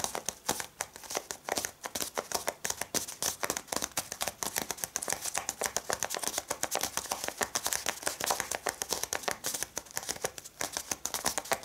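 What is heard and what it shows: Long red-painted fingernails tap, scratch and press on a small folded brown kraft paper packet resting on a cloth-covered table. A rapid, steady run of crisp, bright taps and dry papery scratches and crinkles continues throughout, with almost no low end and each hit dying away quickly.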